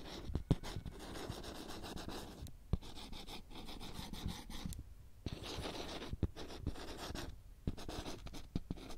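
A marker makes writing strokes on the glossy, printed-letters surface of a small, thin handheld whiteboard with a green plastic frame, held steady close up. Soft, continuous scratchy squeaks and rubs come in bursts separated by short pauses, with occasional sharp taps.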